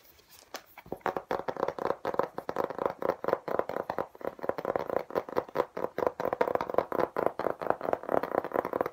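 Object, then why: Textured hard plastic laptop case. A flat, hollow-shell hard plastic laptop case with an embossed geometric pattern is held in both hands and fast-tapped with the fingertips on its textured face. After a brief quiet start, a rapid, continuous stream of short, dry, hollow clicks follows, centered in the midrange with little low end.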